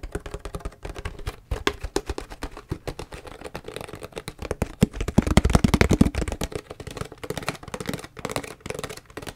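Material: Plastic.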